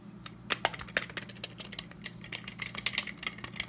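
A hand-sized desk stapler with a black plastic top and metal base is held in one hand while the fingertips of the other hand tap and scratch it. The result is a rapid, uneven run of short, bright clicks and ticks with scratchy rustle between them, each dying away almost instantly, over a faint steady low hum.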